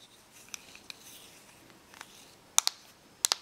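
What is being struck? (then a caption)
Plastic correction tape dispenser shell. Long nails tap and scratch the back of a small, hollow correction tape dispenser with a glossy black plastic shell. Faint scratching and a few light ticks lead into two pairs of sharp, bright clicks near the end. Each click is dry and stops almost at once.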